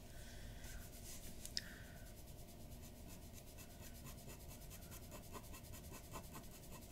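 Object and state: Paper drawing sheet.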